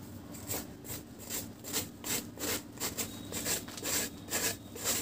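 A metal knife blade shaves and scrapes the surface of a round, flat, solid dry cement cake held in one hand. About a dozen dry, gritty scraping strokes repeat at a steady pace, each a bright, hissy rasp with little low end. Fine grains of cement are shaved off the cake.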